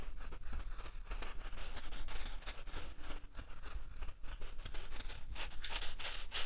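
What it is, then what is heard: Fine dry sand. Fingertips and short nails scratch and rake through a flat bed of fine, light-colored dry sand, leaving furrows in the loose grains. The result is a steady run of gritty, crackling scratches with bright hissy bursts over a low, dull rumble.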